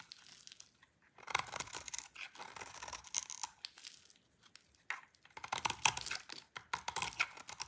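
A hand-sized, solid magenta bar of dry soap is held in the hands and carved with a utility knife blade that scrapes off brittle curls. The result is a run of dry, bright scraping and crackling strokes, with brief pauses between bursts.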